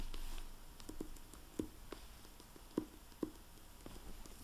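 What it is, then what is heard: Hardback book with plastic dust jacket. Fingertips handle the plastic-covered dust jacket of a hardcover library book, "Precious," resting on a wooden table; a dry microfiber cloth rubs the cover, then the book is opened and the jacket flap crinkles. The result is quiet, low, dull soft taps and faint rustling, with a few short, sharper ticks that die away at once.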